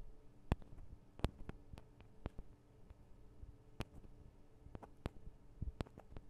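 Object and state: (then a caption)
Metal microphone capsules tapped with nails. Long acrylic nails on both hands tap the small hollow metal microphone capsules of a Tascam DR-40 recorder. An irregular series of sharp, very short clicks rises over a quiet, steady low hum. Each tap dies away almost instantly.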